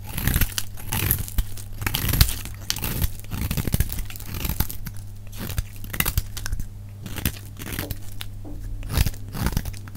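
A solid rectangular bar of dry red soap is held in the hand while a metal utility-knife blade shaves its edge, and flakes fall away. Quick, crisp scraping and crunching strokes come one after another in a dense run over a steady low hum.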